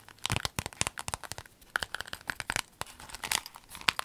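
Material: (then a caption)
Vinyl. A rainbow clear vinyl pencil case, folded and rolled, is squeezed and crinkled with long nails. A rapid, uneven series of sharp, bright crackles and crinkles is heard, each snapping off almost instantly, with little low end.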